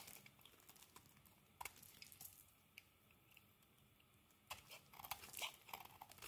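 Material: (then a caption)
Soap. A solid green bar of soap is scraped and carved with a metal blade, giving off crumbly shavings. Soft, bright scraping and crunching runs throughout, broken by sharp clicks near 1.6 s and 2.8 s. A denser burst of crisp cuts fills the last two seconds.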